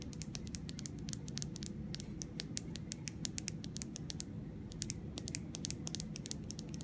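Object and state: Plastic mascara tube.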